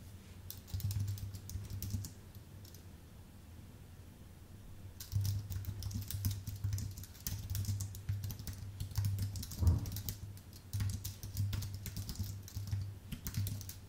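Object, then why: Aluminium and plastic computer keyboard. Fingertips of both hands type on a full-size white Apple Magic Keyboard with numpad, its thin aluminium base and plastic keycaps resting on a dark desk. Rapid bursts of short, bright key clicks ring out, with a quieter stretch near the start, over a steady low hum. The taps are crisp and die away almost instantly.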